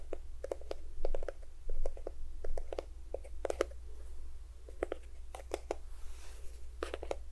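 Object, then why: Plastic squeeze tube of lotion. A small cream-yellow plastic squeeze tube of lotion, hollow and at least partly filled, is tapped and scratched with fingertips and nails along its length close to the microphone. It makes quick, dry, hollow clicks and short scratchy rasps at an irregular pace over a steady low hum.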